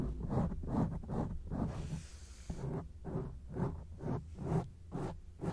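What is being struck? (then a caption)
Foam microphone windscreen. Long acrylic nails scratch back and forth across a grey foam microphone windscreen. Rapid, muffled, low-heavy rasping strokes repeat at a brisk, uneven pace, with a brief softer, airy hiss in the middle before the scratching resumes.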